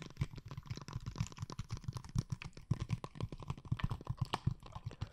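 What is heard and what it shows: A blue plastic glitter water bottle, filled with liquid and held at an angle, is tapped rapidly with long painted nails. The result is a dense run of short, dull, low taps, each with a faint bright click and almost no ring.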